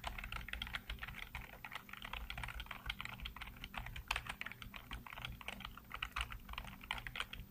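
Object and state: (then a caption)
Plastic computer keyboard being typed on. Fingertips type rapidly on a black plastic backlit computer keyboard, producing a dense, continuous stream of short, bright plastic clicks with very little ring. A steady low hum sits underneath the typing.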